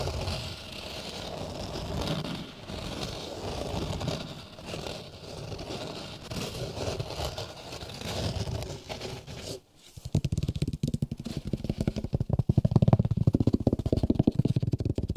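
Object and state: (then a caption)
Felt acoustic panel. A thin, solid, hexagonal grey polyester felt sound-absorbing panel is handled close to the microphones while fingertips tap and scratch its surface. For about nine seconds there is a soft, steady, low scratching and rubbing. After a brief pause, it gives way to louder, rapid, irregular dull taps with a slight crinkly edge.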